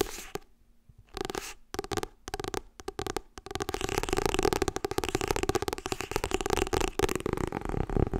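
Long red nails tap and scratch the glossy illustrated cover of a paperback book held upright. Short, separated bursts of tapping open the clip, then build into fast, continuous dry taps and scratches that stay dense to the end.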